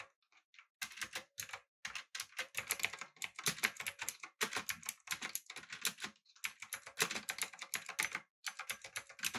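Fingertips type rapidly on a backlit, typewriter-style mechanical keyboard with blue switches, an aluminum body and round plastic keycaps. Bright, sharp clicks come in quick bursts separated by short pauses, each click dying away almost instantly with very little low end.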